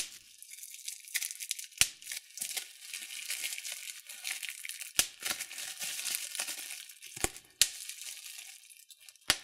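Fingers and thumbs pinch and pop the bubbles on clear plastic bubble wrap, giving a steady, bright crinkling rustle. Five sharp, loud pops stand out clearly above the crinkle, each snapping off almost instantly.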